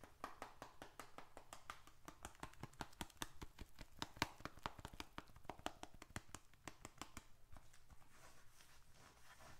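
Fingertips tap the flat face and edges of a small, handheld, closed bifold wallet made of reddish-brown leather, with paper bills and receipts inside. About 35 quick, soft, dry taps come in a steady rapid series, each dying away almost instantly with no ring. The tapping grows sparser and quieter over the last couple of seconds.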